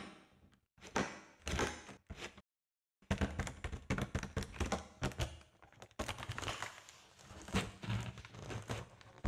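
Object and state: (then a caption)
Foil balloon tapped and crinkled. A large, hollow, air-filled silver foil (mylar) balloon with crinkled seams is tapped and scratched by long nails and squeezed so it crinkles. Dull, quick tapping thunks and bright crinkling rustles come in bursts, with a short silence near the start and a longer one around 2.5 seconds, then denser, steady activity to the end.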